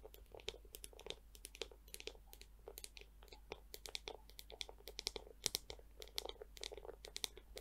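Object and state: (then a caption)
Plastic scalp massager brush. A small pink plastic scalp massager with a hollow dome and clear plastic bristles is tapped and scratched by long nails on the dome and handle. The result is a quick, steady run of crisp, bright clicks and scratchy crackles, with no ring after each touch.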